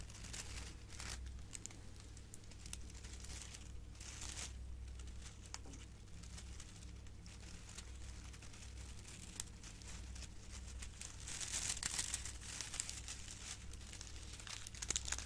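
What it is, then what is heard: Metallic foil gift bow being crinkled. A silver metallic foil gift bow with curled foil strands is held between both hands and crinkled by squeezing its foil base and scratching it with long nails. The result is a steady stream of quiet, dense crinkling and bright crackles over a low hum, with the crinkling growing louder and sharper toward the end.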